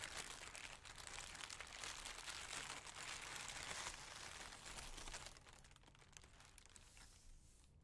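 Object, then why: Thin plastic bag. Fingertips with painted nails press, rub and crumple a large, thin, crinkly pink plastic bag, hollow, empty and loosely bunched, lying on a white surface. A dense, bright crackling fills the first five seconds, then the crinkles turn softer and quieter until the end.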